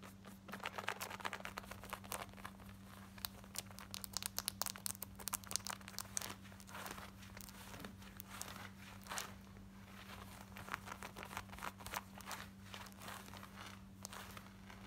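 Long nails scratch quickly across worn, light blue distressed denim shorts near the button and waistband. Dense bursts of dry, bright scratching and crinkling come in rapid clusters over a steady low hum, with no speech.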